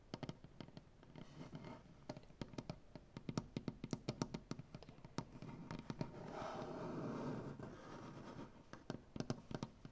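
Black-painted fingernails on both hands tap quickly and scratch across a solid maple butcher block wooden tabletop. Short, dry, knocking taps with a low-mid body come in rapid bursts, broken by a longer stretch of steady, rasping scratching near the middle before the quick tapping returns.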